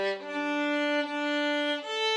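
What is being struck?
Nothing is struck.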